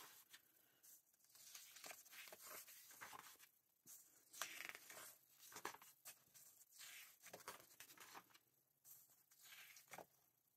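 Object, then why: Glossy paper magazine. Fingertips turn the glossy paper pages of a November 2024 Vogue magazine held open at the page edges. Soft, bright rustles and crinkles rise and fade in quiet bursts, with crisp snaps as each page flips over.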